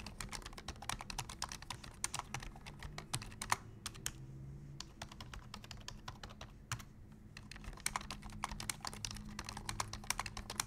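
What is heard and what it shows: Both hands type rapidly with their fingertips on a black plastic full-size computer keyboard resting on a desk. Dense, bright clicky key taps come in quick bursts, with brief pauses around the 4-second and 6-second marks. A faint steady low hum runs underneath.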